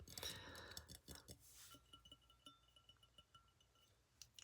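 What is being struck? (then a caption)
Wine glass. A small glass of white wine is clinked and tapped, producing bright, high glassy chinks with faint ringing tones around 1.3 and 3 kHz. The clinks come in an irregular run, with a louder burst at the start and sharper ticks near the end.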